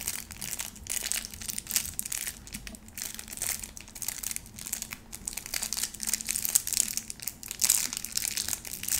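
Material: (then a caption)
Plastic film. A small round bar of soap in pleated white plastic wrap, held in the hands, has its crinkly wrapper scratched and squeezed by long painted nails. The result is a dense, continuous stream of bright crinkling and crunching rustles with quick sharp flicks, sitting mostly in the high range with almost no low end.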